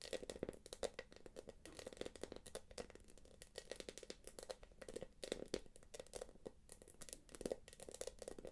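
Long nails tap and scratch across the quilted top of a small, hollow, light-blue glossy quilted plastic purse, which is then held upright. The result is a quiet run of rapid, dry clicks and crinkly scratches with a hollow mid-low body and a bright, crackling edge, each tap dying out almost instantly.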